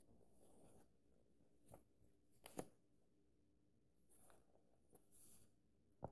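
An index fingertip traces lines of text across the paper pages of an open paperback book, making soft, quiet brushing swishes with faint bright hiss. Five short, dull taps on the page stand out between the strokes.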